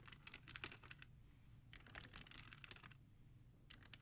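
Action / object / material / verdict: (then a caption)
tap / plastic CD jewel cases in a rack / plastic / none. Long nails tap and scratch across the top spines of a row of plastic CD jewel cases standing in a black holder. Quick, bright clicky taps come in three clustered bursts, with brief scratchy rasps and very short decay between them. A faint low hum sits underneath throughout.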